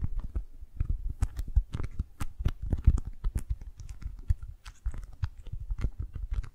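A rolled tube of beeswax-coated cotton food wrap is held in both hands while long nails and fingertips grip, squeeze and rub it. The result is a steady, irregular stream of soft crinkling and crackling, with dull low thumps and short, dry, bright ticks.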